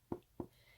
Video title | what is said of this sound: Tender Petals Embroidery Pattern Tutorial | if you tap it and it starts sagging it's not tight enough